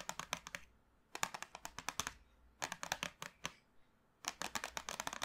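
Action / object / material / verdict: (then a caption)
tap / small cardboard box of chalk sticks / cardboard / none. Long manicured nails tap and drum on the top of a small, flat, printed cardboard box full of 24 sticks of colored chalk lying on a dark table. Four bursts of rapid, dry, clicky taps sound bright and hollow, with very little low end and almost no ring. Short quiet pauses fall between the bursts.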